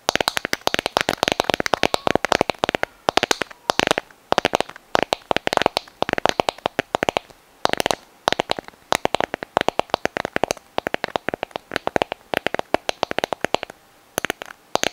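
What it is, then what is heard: Sand dollar shell. A white, hollow, brittle sand dollar skeleton is held close to the microphone while long fingernails scratch and tap it. The result is a dense, irregular stream of sharp, dry clicks and scratchy crackles. The sound is bright and papery with almost no low end, each tap dying away instantly, with brief pauses between bursts.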